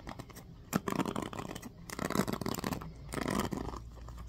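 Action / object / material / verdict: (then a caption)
scrape / plastic hairbrush with bristle cushion / plastic / none. Fingertips strum and scratch the bristles of a small oval black plastic hairbrush with a teal-tipped bristle cushion. Dry, crackly scratching and rustling come in a few bursts over a quiet background, with a short sharp onset at the start of the first burst.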